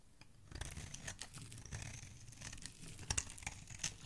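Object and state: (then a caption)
Soap bar being scraped. A solid pink soap bar held in the hand has its edge shaved and scraped with a dark metal blade, scattering flakes. Rapid dry scratching and crisp crumbly scraping repeat over a low rumble, with bright, short strokes and no ring after each.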